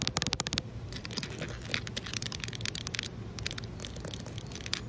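Long nails tap quickly on a large, solid outdoor concrete ledge. Each tap is a short, dry, bright click that dies almost at once over a steady low background rumble. A fast burst at the start gives way to a looser, scratchier run of taps.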